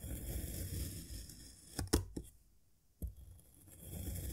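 A serrated metal knife cuts a small solid cylinder of yellow kinetic sand, molded from a cup, into thin slices, pressing and scraping through the packed sand down to the board. A low, grainy crunching rumble opens and closes the clip, with four short, sharp ticks of the blade against the board in the middle, separated by near silence.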